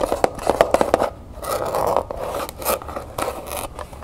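Long painted nails tap and scratch the lid and sides of a small hollow cardboard jewelry gift box, covered in textured copper-colored paper with a ribbon and held in hand. A quick run of sharp, hollow taps at the start gives way to dry, papery scratching and scraping with a midrange tone and a few scattered taps.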